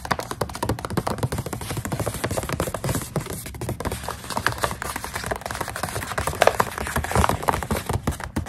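Long acrylic nails tap fast on a full plastic snack pouch of dried coconut strips. The result is a dense, steady stream of short, dry ticks and soft thuds with a crinkly plastic edge, each tap dying away almost instantly.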